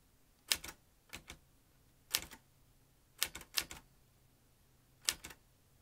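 Fingertips press the keys of a metal manual typewriter, sending the typebars striking the paper on the ribbon-fed carriage. About twelve sharp, bright clacks arrive in small, irregular clusters of two or three, separated by short pauses. Each strike dies away almost instantly against a faint low hum.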